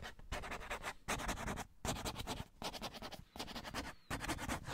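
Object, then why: Cardboard tissue box. A hollow cardboard Scotties tissue box, held upright with tissue sticking out of the top, is scratched and rubbed with fingernails. Bursts of dry, bright scratching come in uneven bunches over a low, hollow body sound, with brief quiet gaps between them.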